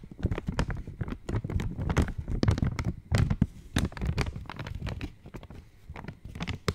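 An opened purple Cadbury Dairy Milk chocolate wrapper of foil-lined, metallized plastic is held in both hands and tapped with long nails. The result is a steady stream of quick, irregular crinkling taps and crackles, with sharp bright clicks over a fuller low rustle. Each tap dies away almost instantly.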